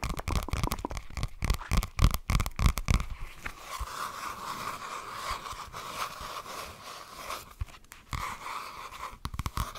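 A flat spiral-bound notebook with a cardboard cover is held close to a microphone and tapped and scratched with fingertips and nails. Quick, uneven dull taps with deep, close thumps come first, then a steady dry scratching with a faint hum near 1 kHz. A few more sharp taps return near the end.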